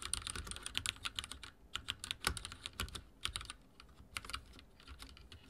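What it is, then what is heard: Mechanical keyboard with plastic keycaps. Fingertips type on a backlit mechanical keyboard with dark plastic keycaps, producing a quick run of bright, sharp clicks and clacks with a low thump under each keystroke. The typing comes in bursts with brief lulls, each click dying away almost instantly.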